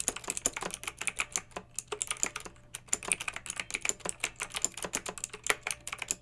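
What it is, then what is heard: Plastic mechanical keyboard. Long red-nailed fingertips type steadily on a pink mechanical keyboard with round retro plastic keycaps and blue backlight. Rapid, bright plastic clicks and clacks follow one another with very short decay and almost no low end, some strokes landing harder than others. It is a continuous, crisp typing rhythm.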